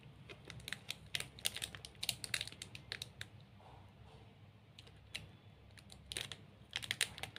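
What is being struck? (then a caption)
Chocolate bar in a plastic wrapper. A large 45 g Snickers chocolate bar, solid and sealed in a glossy plastic wrapper, is held in both hands while fingertips and nails scratch and squeeze the wrapper. Quick, bright, crinkly taps and scratches come in clustered bursts with short quieter gaps, each click dying away almost instantly over a low steady hum.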